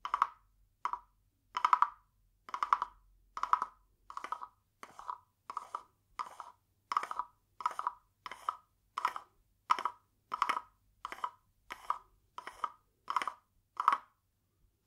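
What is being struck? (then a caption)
Carved wooden frog guiro scraped with a wooden stick. A small hollow carved wooden frog guiro, painted glossy green with a ridged back, is held in one hand and rubbed and tapped along its ridges with a green wooden stick. About twenty short, dry, woody rasping bursts centred near 1 kHz follow one another at a steady pace, each dying away almost instantly with a faint high edge.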